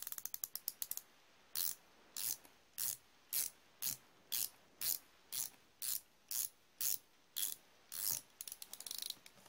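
A solid chrome-plated steel flex-head ratchet wrench is spun back and forth with the fingertips. A fast run of sharp, bright clicks gives way to about a dozen short, buzzing ratchet whirs at a steady pace, and the clip ends with another quick flurry of individual clicks. The sound is crisp and high, with almost no low end.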